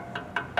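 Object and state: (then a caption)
Thick solid steel bumper. Three knocks by hand on a thick, solid aftermarket steel rear bumper of a Ford single-cab pickup. Each rap gives a short, bright metallic ping centered around 700 Hz that dies away within about a tenth of a second, showing the steel is solid and thick.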